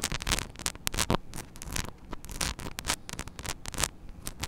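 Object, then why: Small metal mesh microphone grille. Long nails scratch the grille of a small, hollow metal mesh mini microphone head. Rapid, dry, bright scratching strokes come in dense bursts over a rumbly low end, each stroke cutting off with almost no ring.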